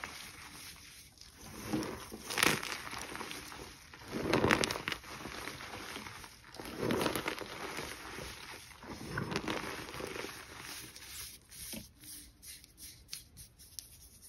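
Long green nails and fingertips press into a loose pile of crushed purple-tinted gym chalk (magnesium carbonate) with small chunks, spread on a dark surface, crushing it and rubbing it flat. Soft, dry crunching and gritty crackles rise and fade in irregular swells over a faint bright hiss.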